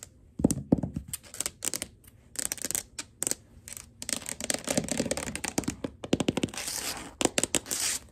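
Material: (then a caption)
Laminate. Long glitter acrylic nails scratch and tap across a flat wood-grain laminate floor as fingers scurry over it. Quick, dry clicks and bursts of bright, crackly scratching come in uneven clusters, each sound stopping almost at once with no ring.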